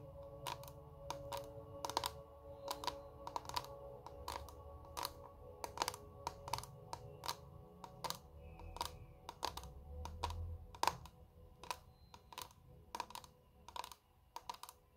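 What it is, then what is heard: Clear plastic makeup compact. A small square clear plastic makeup compact with glittery contents is held in both hands and tapped rapidly with long red nails in a typing-like rhythm. The hollow case gives sharp, dry clicks with almost no ring and a faint tone near 1 kHz, over a soft low hum.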